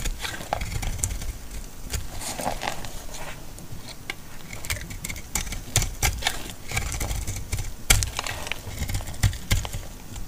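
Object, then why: Laundry soap bar. A utility knife blade repeatedly cuts shallow slices into a solid, dry green laundry soap bar and scrapes off flakes. The result is a steady run of crisp, dry scraping and crackling clicks with bright, sharp edges over a low, dull rumble.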